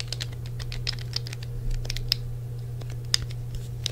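Fingertips tap across the hollow shell and press the buttons of a hand-sized, grey plastic original PlayStation controller. The result is a rapid, uneven run of short, dry, bright clicks and taps over a steady low hum.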